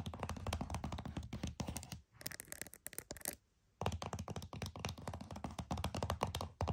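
Several fingernails tap quickly on the back of a flat, hollow plastic PS5 game case, making rapid, uneven bursts of short, hollow thunks with bright clicky edges. The tapping breaks briefly around two seconds, goes nearly silent just before four seconds, then resumes at the same quick pace.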